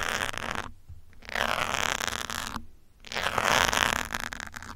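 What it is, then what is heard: Foam microphone windscreen being scratched. Metal pins held from above scratch the top of a grey foam windscreen on a black microphone. The result is dense, rough bursts of close scratching with a bright, hissy texture, broken by two short quiet gaps.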